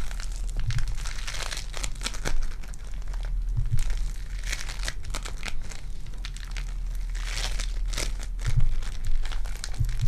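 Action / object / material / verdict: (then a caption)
scrape / foam bead clay ball / foam clay / none. A lilac foam bead clay ball is pulled into two pieces and stretched between the hands, held with fingers and nails, giving a continuous sticky crinkling and crackling. Brighter bursts of crackle swell and fade over a steady low hum.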